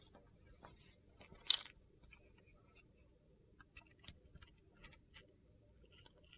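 A metal box-cutter blade carves and shaves dry, crunchy flakes off a solid white soap bar with a blue glitter coating and a stamped "SOAP" label, held in the hand. Faint, bright scraping and crackling ticks are scattered through the clip. One louder, sharper crunch stands out near the middle.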